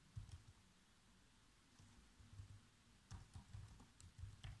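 Fingertips type fast on the black plastic keys of a laptop keyboard. The result is quiet, dry, muffled taps, mostly low thumps with a few brief bright clicks, arriving in quick bursts with short pauses between them.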